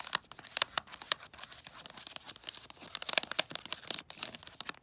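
Long nails tap on holographic tree-print foil wrapping paper covering a long gift box with a red gift tag. The result is a quick, irregular run of bright, crisp clicks and crinkles, sharpest in the high frequencies, with almost no low-end body and no lingering ring.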